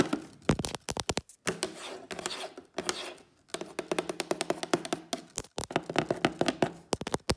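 Fingertips and long fake nails tap on the top of a hollow, white printed cardboard Instax camera box. The sound is quick, dry, clicking taps that come in bursts and rapid runs, with short pauses and a soft scratchy rustle between some runs.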